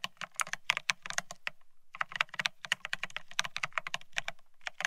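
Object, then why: Mechanical keyboard with ceramic keycaps on a steel plate. Both hands type rapidly with the fingertips on a Bear65 mechanical keyboard fitted with blank white matte ceramic keycaps (Cerakey) on a steel plate, resting on white cloth. About 29 sharp, bright clacks ring for almost no time, each over a faint low thud, with a brief pause near the middle.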